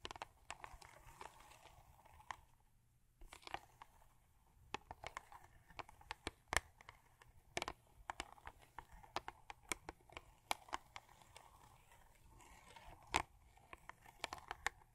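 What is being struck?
Thin cardboard toothpaste box.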